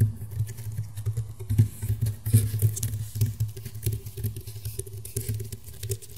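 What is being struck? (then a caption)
Woven rattan round mat. Fingernails tap and scratch quickly across the woven ridges of a flat, round woven rattan table mat. The result is a soft, irregular patter of clicks and dry scratches with brief bright edges, over a steady low hum.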